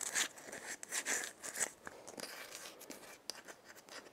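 Long nails scratch and tap the hollow shell and wooden handle of a dried gourd maraca, making dry, crackly scrapes and light ticks. The sound is bright and thin, with no low end, and the taps are short with almost no ring.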